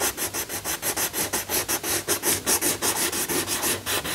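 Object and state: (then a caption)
Coloured pencil shading on a paper page. A yellow wooden coloured pencil shades a lion figure on a thin paper colouring book page lying flat, while the other hand holds the page. Quick, steady rubbing strokes make a rhythmic, bright, papery scratching hiss, with each stroke swelling and fading in turn.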